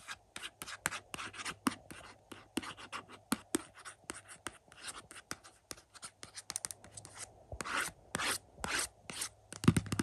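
Fingertips and nails trace, scratch and tap the front of a hollow, glossy printed cardboard slipcover for an Indiana Jones 4-movie 4K collection resting on a carpet. Quick, dry taps and short scratchy strokes come in a steady stream with no ring, and longer brighter rubbing strokes near the end. A low hum sits underneath throughout.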